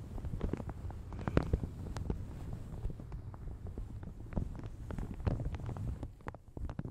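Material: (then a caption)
Plastic. Fingertips and nails crinkle and rub a light blue plastic shower cap stretched over a large hollow Yeti microphone. The result is a dense, muffled run of low, boomy crinkles and soft scratchy rubbing, with occasional sharper crackles standing out.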